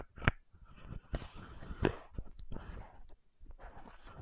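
Long nails tap and scratch the gold cap of an orange-red frosted plastic VC100 lotion bottle. Soft, dull taps stand out from a quiet, continuous scratching rustle, with little ring after each tap.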